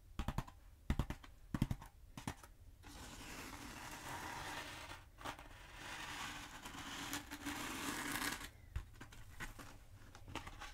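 Long acrylic nails tap and scratch along the textured surface of a long black hollow polyethylene foam pool noodle held in both hands. Sharp, dry taps open the clip, giving way to a long, steady, bright scratching hiss that fades back into lighter, scattered taps toward the end.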